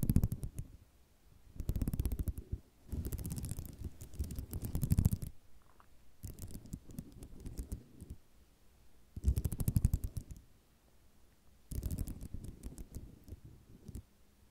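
Long nails tap and scratch across a flat sheet of small white square ceramic mosaic tiles resting on cloth. Dense bursts of quick, dry clicking and scraping come in repeated waves, separated by brief quiet gaps. Each tick dies away almost instantly, leaving a close, muffled texture that is heaviest in the low end.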